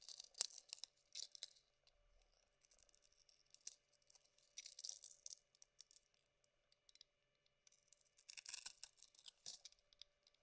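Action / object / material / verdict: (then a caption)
scrape / bar of soap scraped with a metal blade / soap / none. A metal blade scrapes a solid pink Avon soap bar held in the hand, its white core exposed. The result is quiet, bright, crisp scraping and shaving in short bursts and clusters, with almost no low end and brief pauses between strokes.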